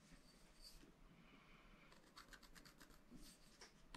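A wooden stylus scratches short strokes into a black coated sheet of a scratch-art paper pad. Soft, bright rasping scrapes come in a burst early on, then a smoother rub, then a run of quick, crisp strokes over a steady low hum. It is quiet throughout.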